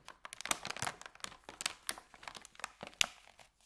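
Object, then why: Thin paper bag. A thin, empty white paper sandwich bag is rolled and folded from the end by fingers, giving dense, bright crinkling with many short, sharp snaps and little low end. The crackles come in quick irregular bursts, with the loudest crisp snap near the end, and each dies away instantly.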